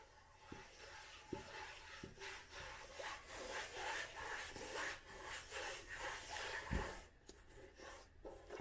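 Fingertips and nails rub and scratch the tan cloth cover and page edges of an old hardcover book with a red spine. The result is a quiet, steady scratchy rasp with a bright hiss, broken by two soft low knocks.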